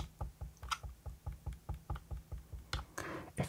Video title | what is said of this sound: You GOTTA Hear This Spacebar! ASMR NuPhy Halo75 & Halo96 Keyboard Unboxing & Sound Test [whispering] | quiet and dampened because each switch has a silicone pad under it